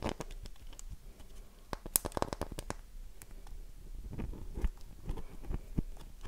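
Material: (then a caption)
Soap. A solid, oval, light-blue bar of dry soap with a heavily carved surface is held in both hands and scratched and tapped with long nails. Dry scratching and crumbly crinkling run under a series of sharp, short taps, with a quick cluster of bright clicks near the middle and softer low thumps toward the end.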